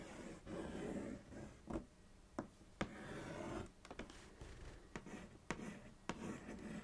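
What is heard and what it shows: Long acrylic nails trace and scratch along the side and back of a thin, hollow printed cardboard Kellogg's cereal box, making soft, dry rubbing and scraping strokes. Nine sharp, short nail clicks break through the quiet scratching.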